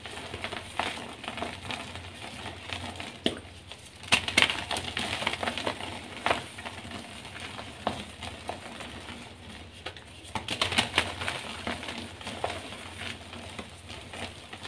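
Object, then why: Magnesium carbonate gym chalk block. Pink dyed soft gym chalk (magnesium carbonate) pieces and powder on a pink pile are squeezed and crumbled in both hands, with fingertips crushing the small, dry, powdery chunks. The result is a steady, bright, crumbly crunching and crackling with short, sharp snaps, swelling into louder bursts of breaking around 4 and 11 seconds.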